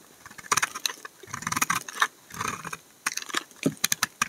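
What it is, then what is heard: Bar of laundry soap being shaved. A utility knife blade scrapes curled shavings off the narrow edge of a solid amber laundry soap bar held in the hand. Short, crisp, bright scraping strokes come in quick bursts with brief quiet gaps between them.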